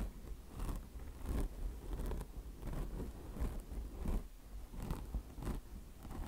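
Long blue nails scratch the mesh top of a mesh-covered microfiber car wash sponge resting on marble. Rough, crackly scratching comes in irregular strokes over a steady low rumble, each stroke fading almost at once.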